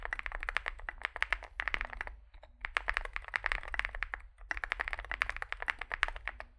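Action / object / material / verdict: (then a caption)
tap / mechanical keyboard with plastic keycaps / plastic / none. Fingertips type continuously on a small Zoom65 65% mechanical keyboard with a dark case and white and grey plastic keycaps. Rapid, short, bright clacks come in bursts, with brief pauses around 2 and 4.5 seconds, over a faint low hum.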